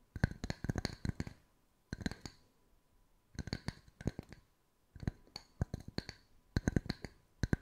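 Two matching small round solid wood tree slice coasters, one held in each hand, are tapped and scratched with long white nails. Quick, dry wooden clicks and taps come in rapid bursts separated by short quiet pauses. Each tap is brief with almost no ring and a faint high scratchy edge.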